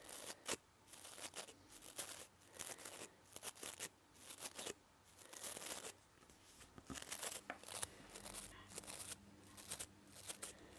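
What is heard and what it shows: A manual toothbrush with white, yellow and blue nylon bristles on a plastic handle is held in one hand while fingertips and nails brush and flick across the bristles. Short bursts of bright, crisp scratching and rustling come in quick flurries separated by brief quiet gaps, each flick ending almost instantly. A faint steady low tone sits underneath in the second half.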